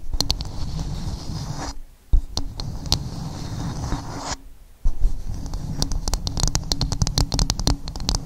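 Long acrylic nails scratch and tap the outer surface of a dark, rough half coconut shell resting dome up. Dense, low, rumbling scratches are broken by sharp, bright nail clicks, with two brief quiet pauses before the scratching resumes and quick taps pile up toward the end.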